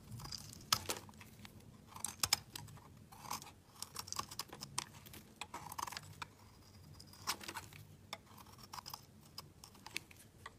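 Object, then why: Bar of soap shaved by a knife blade. A utility knife blade shaves the edge of a solid rectangular mint-green laundry soap bar held in hand. Quiet, crisp scraping and crunching flicks come in quick irregular bursts, bright and dry with almost no ring.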